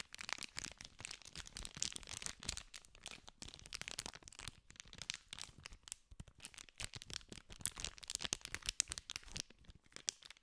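A small green cardboard candy pack wrapped in clear plastic film is held in both hands while fingers scratch and crinkle the wrapper. The result is a continuous run of dense, bright, crackling crinkles with quick sharp snaps and almost no low end.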